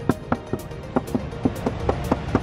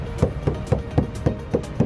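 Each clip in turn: First: car body panel repaired with body filler. Second: original car body panel without filler.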